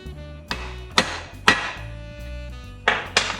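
A part being fitted onto a Detroit diesel water pump during a rebuild is struck five times with a hammer, giving sharp, bright taps over steady background music. The part sounds solidly seated, and the job is done.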